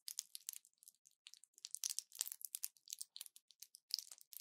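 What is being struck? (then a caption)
Plastic and foil blister pack. A small orange plastic pill blister pack with foil backing is held in both hands and squeezed and crinkled with fingertips and long nails. It gives a quiet, rapid run of short, dry crackles and crinkles that are entirely high and bright, with no low end. Each snap dies away almost instantly.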